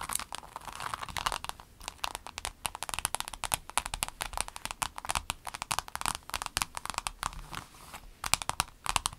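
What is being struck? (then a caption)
Vinyl pencil case. A flat, empty rainbow clear vinyl pencil case is tapped and scratched by both hands with long acrylic nails. Dense, rapid, crisp clicks and crinkly scratches run steadily throughout, bright and dry with almost no ring.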